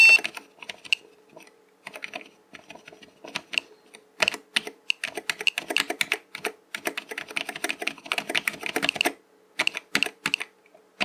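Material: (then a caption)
Plastic. A fingertip presses keys on a black plastic mechanical computer keyboard with hollow keycaps, then the whole hand types across the letter rows. Sparse, bright, clicky taps give way to dense bursts of rapid typing with short pauses, over a faint steady hum.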